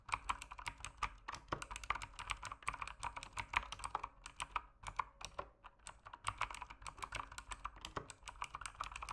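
Fast fingertip typing on a backlit mechanical keyboard with plastic keycaps produces a dense stream of sharp, short clicks and clacks. The clicks center around 1 kHz with bright high edges, and there are brief pauses near 4 and 8 seconds.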